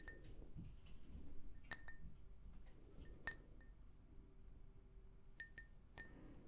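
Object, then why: Glazed ceramic mug. Long nails tap a hollow, empty, pink glazed ceramic mug seven times. Each tap gives a bright, high clink with a quick, short ring, heard over a steady low rumble.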